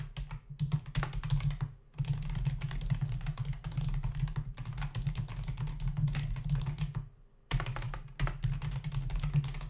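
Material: Plastic.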